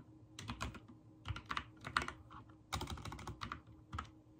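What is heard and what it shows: A backlit mechanical keyboard with white and teal plastic keycaps is typed on rapidly with the fingertips. Bursts of crisp, clicky key presses come in quick irregular clusters, each with a short bright clack over a dull low thump and almost no ring.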